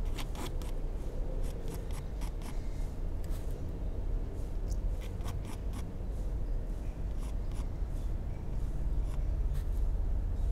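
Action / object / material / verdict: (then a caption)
scrape / pencil lead on a paper sheet / paper / none. A mechanical pencil tip makes short sketching strokes on a flat, solid white paper sheet in a sketchbook. Quick, dry scratching and rubbing bursts repeat over a steady low rumble.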